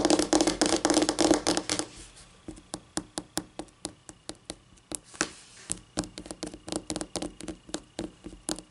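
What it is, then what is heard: Laminate tabletop, solid. Long painted nails tap with both hands on a flat, solid white laminate tabletop. A dense, rapid flurry of clicky taps for about two seconds gives way to slower, separate, bright taps, each dying out almost instantly with a faint low tone under them.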